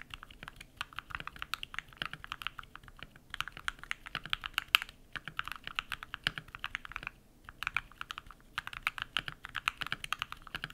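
Bare fingertips type rapid key presses on a compact modded mechanical keyboard with white PBT plastic keycaps and lubed switches. The result is a dense stream of short, crisp clacks centered around the 1–3 kHz range with bright edges and almost no low end. Each press dies away instantly, and the flurries are broken by brief pauses near 3 and 7 seconds.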